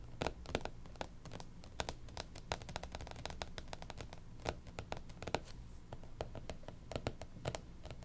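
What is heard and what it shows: Long pink nails tap and scratch across the cover of a closed, striped hardcover planner lying flat. Quick dry clicks and scrapes come in uneven bursts over a steady low hum, each tap dying away almost instantly with no ring.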